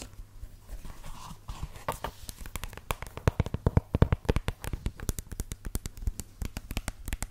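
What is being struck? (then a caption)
Suede high-heel shoe. Long red fingernails tap and scratch along the suede upper of a single hollow red suede stiletto pump with a black sole, held in the hand. Quick, irregular soft taps and brushing scratches run throughout, each dull and dry, stopping almost at once with no ring.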